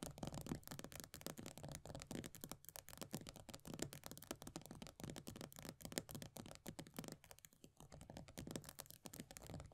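Long nails rapidly tap and scratch the pale green plastic base of an upside-down plastic body butter tub with a paper label. The result is a quiet, continuous stream of short, dry clicks and scratchy rustles with a slight hollow low body and no ringing.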